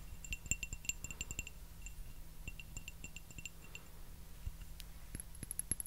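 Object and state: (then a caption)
Porcelain teacup. A small, hollow, empty white porcelain teacup with a floral pattern is tapped with fingernails in quick, irregular bursts. Each tap gives a bright, glassy clink that dies away almost at once, over a faint steady low hum. Near the end, the clinks turn higher and thinner.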